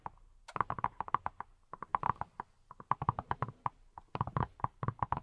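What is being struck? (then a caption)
Silicone pineapple-shaped brush. A hand-sized yellow silicone pineapple-shaped brush, which appears hollow, is held in both hands and tapped with fingertips wearing silicone rubber pads. About thirty quick, soft, hollow taps come in irregular bursts, each with a dull mid-pitched knock and a faint low thump. Every tap dies away almost instantly.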